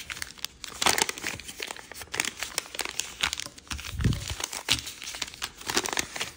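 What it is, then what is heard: Origami paper being folded. Fingertips fold a small, thin sheet of white-and-red patterned chiyogami origami paper and rub along its creases. The result is a steady run of crisp, bright crinkling and rustling in short bursts, with one duller, lower rub near the middle.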